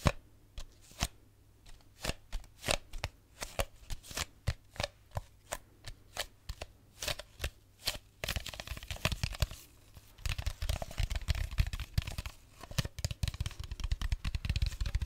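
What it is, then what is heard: Plastic bottle. An empty clear plastic drink bottle is tapped with nails and fingertips, giving sharp, dry, bright clicks spaced apart for the first eight seconds. The tapping then turns into a fast, dense flurry of crackly taps and scratches, with heavier, deeper thumps joining in over the last few seconds.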